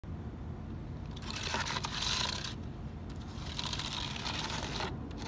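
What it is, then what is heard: Plastic computer keyboard. Fingertips tap and scratch across the hollow plastic key caps of a black HP plastic computer keyboard lying on a wooden desk, pressing the keys. The result is a dense stream of light clicks and a bright, rasping scratch that swells in two bursts over a steady low background rumble.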